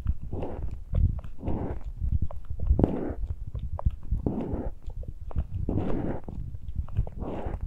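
Fingertips and nails scratch and rub the uncovered metal mesh grilles of the small X-Y microphone capsules on a handheld Tascam recorder. The result is close, boomy, low-heavy scratching that swells in rough bursts of crackly friction. Sharp little clicks and taps are scattered throughout.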